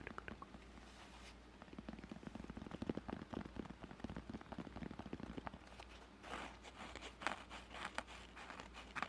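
Fingertips and nails tap and scratch a closed, palm-sized, hollow grey felt-covered rigid zip case. Rapid, dry little taps and crackling scratches run throughout over a steady low hum. The scratching turns brighter and rougher in the last few seconds.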